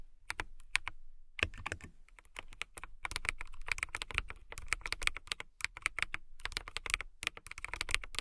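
Long nails type on a transparent acrylic mechanical keyboard with clear keycaps, producing rapid, bright clicking keystrokes with short pauses between bursts. Each tap is crisp and dry with almost no ring, centered around 2.4 kHz with a light low thump beneath.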